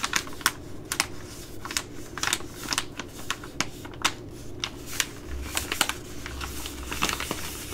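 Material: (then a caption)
Plastic laminate. A Ready Rice plastic laminate pouch, held in both hands, is tapped and scratched with long glittery nails. A quick, uneven series of sharp, bright clicks and taps rises over soft scratchy rustling. A faint steady low hum runs underneath throughout.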